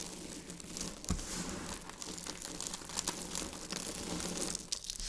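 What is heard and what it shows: Dried white soap flakes are squeezed in the palms and sprinkled from the fingers onto a pile on a wooden board. The result is a continuous, dense, bright crinkling and crunching that holds a steady level, with a few sharper crackles along the way.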